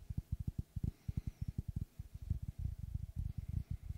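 Fingertips tap and knock on the wooden face of a large, round, solid log slice with a bark rim, held in both hands. The result is a rapid, uneven series of short, dull, low thuds with no ring, some running close together in quicker bursts.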